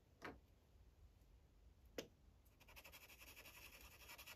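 A dark green Sharpie marker tip rubs on a thin paper coloring page resting on a clipboard, filling in small circles. Two sharp taps stand out near the start, then a soft, steady scratchy rubbing with bright, fluttering texture continues to the end.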